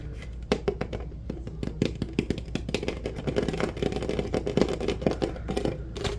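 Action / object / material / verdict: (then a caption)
scrape / plastic drink bottle / plastic / none. An empty clear plastic Powerade drink bottle with a blue label is held in both hands and squeezed and crinkled with the fingers, its hollow shape buckling as it is crushed. Dense, sharp crackles and pops come in rapid irregular bursts over a steady low hum, each snap short and dry.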